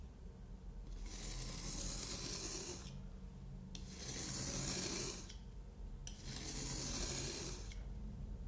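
A yellow-handled craft knife, held in the hand, cuts and scrapes through a solid moulded kinetic sand block, making a crunchy cut. Repeated bright, gritty rasping strokes are heard over a steady low rumble.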